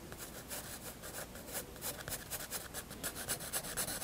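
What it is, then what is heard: Pencil shading on a sketchbook page. A pencil held low on the shaft makes long rubbing shading strokes across a white paper sketchbook page. The result is a steady, soft scratchy hiss with bright grainy texture, swelling and fading in quick, uneven back-and-forth strokes about four times a second.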